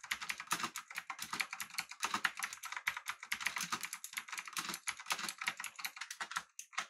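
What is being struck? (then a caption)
Mechanical keyboard with aluminum body and round plastic keycaps. Both hands type with their fingertips on a full-size, backlit, typewriter-style mechanical keyboard with an aluminum body and round plastic keycaps. It makes a fast, steady run of crisp, bright clacks centered in the upper mids, with almost no low end. Each keystroke dies away instantly, and the typing thins to a few last taps near the end.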